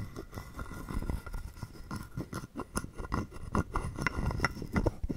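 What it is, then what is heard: Wooden frog guiro being scraped. A hollow carved wooden frog guiro is held in the palm while a wooden stick scrapes along its ridged back. Irregular dry rasps and clicks come in quick bursts, mostly low and hollow with short brighter ticks, and each stops dead with no ring.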